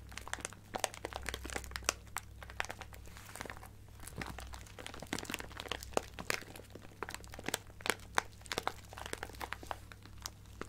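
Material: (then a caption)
Plastic. A clear plastic bag of sequins with a card header is squeezed and scratched with long nails, giving dense, sharp crinkles and crunches as the sequins shift inside. The bright, quick clicks and rustles stack up over a faint steady low hum.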